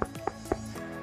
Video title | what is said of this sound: Pasang Full Peredam Suara di Mobil Eropa - VW Tiguan Indonesia | Bahannya aluminium. Jadi ini kalau kita ketok dia padat banget gitu.